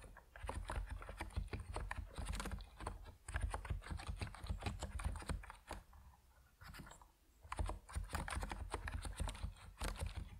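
Fingertips of both hands type on an Epomaker NiZ Plum Atom 68, a 68-key compact mechanical keyboard with white and purple PBT plastic keycaps, resting on a wooden desk. Rapid runs of short, dull keystrokes with a deep, low-heavy thock and faint bright clicks fill the clip, easing into a sparser lull around the middle before fast typing resumes.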